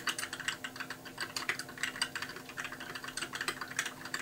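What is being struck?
Plastic mechanical keyboard.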